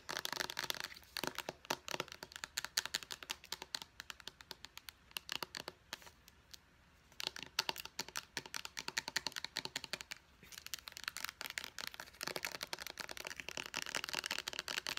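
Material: Plastic.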